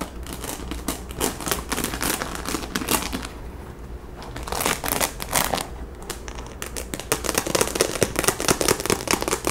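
Long nails scratch across the crown of a hollow pink baseball cap covered in small plastic rhinestones, held up in the air. The result is a dense run of bright, rapid clicking and crackling scratches over a steady low hum, easing slightly in the middle before growing busier toward the end.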